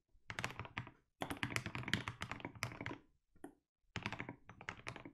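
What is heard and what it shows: Fingertips type continuously on a compact mechanical keyboard with blue and grey plastic keycaps. The typing comes in quick runs of short, deep, thocky keystrokes with brief clicky highs. Each keystroke decays fast, and there are short pauses between bursts.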